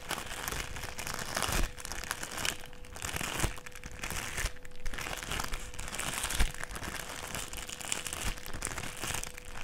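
A folded strip of clear plastic sheet is held in the hands and bent and crinkled by the fingers. It makes a steady, bright crinkling and crackling with a few sharper, louder crunches along the way, over a faint constant tone.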